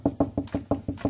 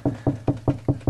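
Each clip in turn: First: solid drywall over a stud. Second: hollow wall cavity behind drywall.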